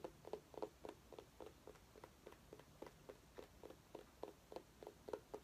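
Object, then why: Small orange pumpkin. A small orange pumpkin with a green stem, which may be real or decorative, is held in one hand and tapped with the fingernails of the other. Quick, irregular, soft taps produce short, hollow, mid-pitched knocks centred around 430 Hz, each with a faint bright click. Each tap dies away almost instantly against a quiet background.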